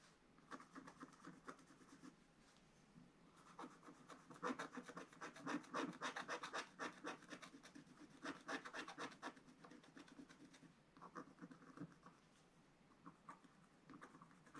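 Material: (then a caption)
Coated paper. A wooden stylus tip makes short scratching strokes on a thin black-coated paper page of a spiral scratch book. Quick, dry, rasping scratches come in uneven runs, with louder, denser bursts in the middle of the clip and lighter strokes at the start and end.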